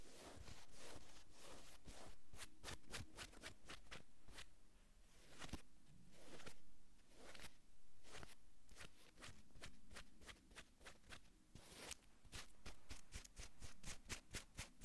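Long acrylic nail tips scratch across a navy cotton sweatshirt on a man's shoulders. The result is a run of quick, dry, brushing scratches with bright bursts of friction over a steady low rumble, pausing briefly before faster strokes near the end.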